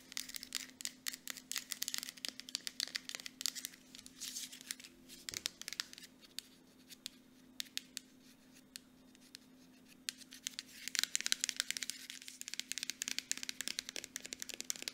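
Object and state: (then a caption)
Plastic lotion bottle. An Aveeno plastic moisturizer bottle is turned in the hands while long nails rapidly tap and scratch its front and bottom. The sound is a dense run of crisp, bright clicks and scratchy rasps, with a faint steady hum underneath.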